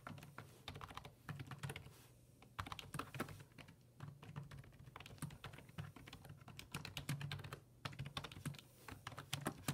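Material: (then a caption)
Plastic. Fingertips type on the hollow plastic keys of a black plastic full-size computer keyboard resting on a wooden desk. Quick, repeated taps give bright, short clicks over a steady low hum, with brief pauses near 2 and 8 seconds.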